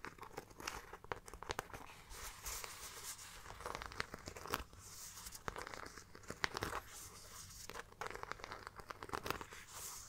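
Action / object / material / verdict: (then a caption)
scrape / studded faux leather crossbody bag / faux leather / none. Long dark nails tap and scratch across the studded front panel and perforated pattern of a small, hollow, round brown faux leather crossbody bag with metal studs. The result is a steady run of quick, dry clicks and crinkly, bright scraping with no ring after each tap.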